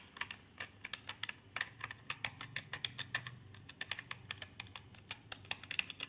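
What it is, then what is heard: Plastic keyboard being typed on. Fingertips type on a backlit plastic gaming keyboard with purple lighting and plastic keycaps on a plastic body. A quick, uneven run of sharp, bright clicks, each dying out almost at once, sits over a faint low hum.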